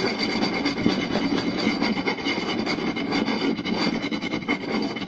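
Both hands scratch with short nails and tap with fingertips across a round, solid wooden plate, moving from the center to the lower edge. The result is a fast, dense, continuous scratching texture with quick tapping mixed in and a bright, rasping edge that never pauses.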